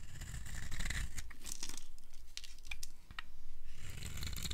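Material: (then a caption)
Soap. A metal blade carves crumbly cubes off the edge of a green-and-white striped solid dry soap bar held in the palm. Dense, dry crunching and scraping is heard, with a low rumbling body and sharp, bright crackles as pieces break away.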